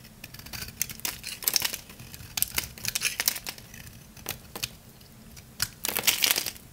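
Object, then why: Soap bar scraped with a knife blade. A utility knife blade shaves curls off the surface of a round, solid, palm-sized lavender dry soap bar. Quick, crisp, bright scraping crunches come in irregular bursts, clustering into denser runs with short quiet gaps between.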